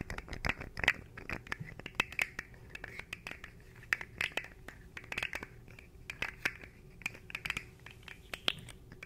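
A small, hollow, articulated rainbow-coloured plastic fidget slug is held in both hands in front of the microphone while its segments are twisted and flexed with the fingertips. It makes a quick, irregular run of sharp, dry clicks with bright, crinkly scraping between them, centred around 2 kHz with little low end.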